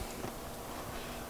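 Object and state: Nothing is struck.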